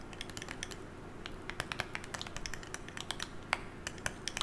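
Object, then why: Smartphone with glass screen in a hard case. A hand-held smartphone with a glass screen in a solid hard case is tapped with long nails and fingertips in a quick, irregular typing-like pattern. Each tap is a short, bright, clicky tick that dies away almost instantly, over a faint steady low hum.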